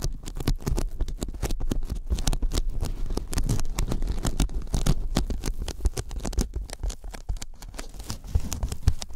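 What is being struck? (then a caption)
Thin polyethylene foam sheet. Fingertips of both hands tap rapidly along the edge of a thin white closed-cell polyethylene foam sheet held above the microphones. The result is a dense, continuous patter of soft, low, muffled taps with a faint sticky, scratchy crackle, each tap dying away almost instantly.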